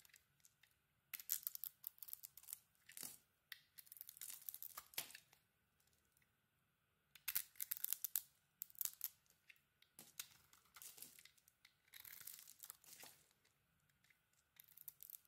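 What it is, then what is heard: Soap bar being carved. A metal utility knife blade carves a solid orange soap bar with a holographic glitter layer, removing shavings. Bursts of bright, crisp scraping and tearing alternate with short quiet pauses as each cut is made.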